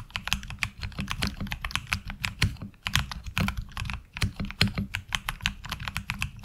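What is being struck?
Mechanical keyboard with ABS plastic keycaps.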